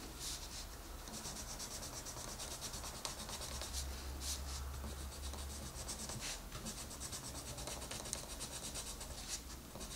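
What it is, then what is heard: Colored pencil on a paper page. A green wooden-bodied colored pencil is rubbed and scratched across the page of an open paper coloring book with a rabbit drawing, lying flat on a table, by a hand with long red nails. Steady, quiet scratchy rubbing continues throughout, with brighter, hissy strokes standing out over a low hum.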